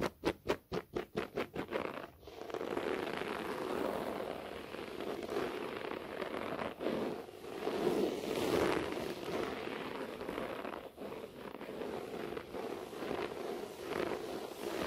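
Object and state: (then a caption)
Short-pile carpet being scratched. Clawed fingertips with short nails scratch slowly across a beige short-pile floor carpet. About ten quick, separate strokes come first, then the scratching turns into a steady, rough rustle centered in the low mids, with brighter swells that rise and fall.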